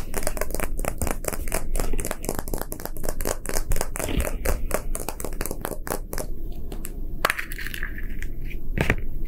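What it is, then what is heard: Plastic toy capsule. A small, hollow, empty round plastic gacha toy capsule, half clear and half lime green, is held in both hands and roughly tapped and scratched with fingertips and short nails. The result is a dense, continuous stream of quick crackling clicks and scratchy taps at a steady level, with sharp, bright transients over a heavy low-end rumble.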